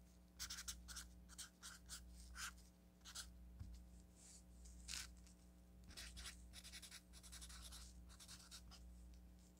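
A felt-tip marker writes on a yellow paper sticky note pad, making bright, scratchy strokes in short irregular bursts. A steady low hum runs underneath the whole time.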